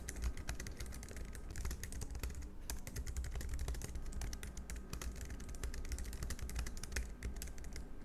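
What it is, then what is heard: Plastic low-profile keyboard typing. Fingertips type continuously and fast on a compact black plastic low-profile scissor-switch keyboard, the Logitech MX Keys Mini. Dense, quick clicky taps with short, dry decay sit over a steady low hum.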